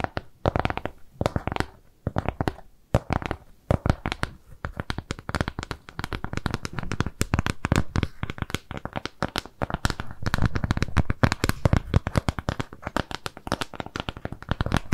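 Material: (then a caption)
Cardboard. Long nails scratch, tap and slightly bend a flat, round, brown kraft cardboard shape with jute trim. The result is a dense, continuous stream of short, dry taps and papery scratches with a low, thuddy body that barely rings, pausing briefly near the start and growing busier toward the end.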